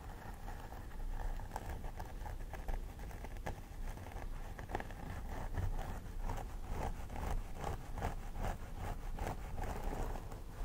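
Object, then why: Plastic doll head with synthetic hair. Both hands pick and scratch with long nails at the part line of a life-size plastic doll head with synthetic hair. A steady run of soft, crisp scratches and small picking ticks sits over a low background rumble, staying at an even, quiet level throughout.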